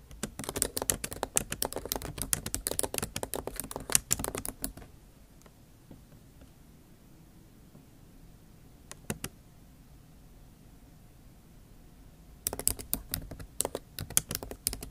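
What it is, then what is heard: Laptop keyboard, plastic keys in aluminium body. Long nail tips type rapidly on a backlit MacBook Pro keyboard with plastic keycaps in an aluminum body, producing a dense run of sharp, bright clicks. The typing stops for several seconds, broken only by a couple of faint taps, then resumes in a quick burst near the end.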